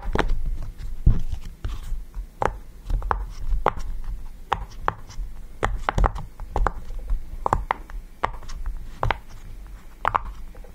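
Fingertips press and pop the hollow bubbles of a yellow round silicone push-pop fidget toy resting on a table. The result is a steady, irregular series of soft, dull pops with short clicky tops and a low thump beneath, each dying away almost at once over a faint low background hum.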